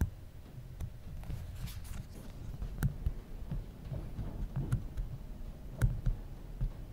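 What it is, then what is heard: Aluminum phone edge tapped. Fingertips tap and rub the aluminum side edge and plastic cap of a small, solid original iPhone. Quiet, dull low thumps stand out over a soft, continuous rubbing, with an occasional sharper click reaching brighter tones. Each tap dies away almost instantly.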